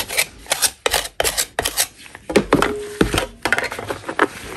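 A metal putty knife, held in a purple-gloved hand, scrapes and scratches a large, solid, natural chalk block lying in chalk dust. Short, dry, gritty rasps repeat in quick strokes, with bright upper hiss and a faint tonal squeak in the middle.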